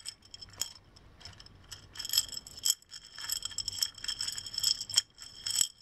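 Hands tilt and shake a small textured hobnail glass mason jar with a screw-on metal lid and a striped straw, partly filled with small loose silver decorative pieces. The filling slides and rattles against the glass in bright, tinkling bursts with short swells and brief pauses, almost no low end.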